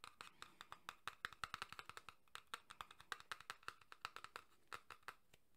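A small printed cardboard tuck box for a Red Dead Redemption 2 card deck, held in one hand and seemingly full of cards, is tapped rapidly with the fingertips and nails of the other hand. The quick, irregular taps are dry, hollow clicks with a midrange tone near 1.3 kHz and bright edges, dying away instantly.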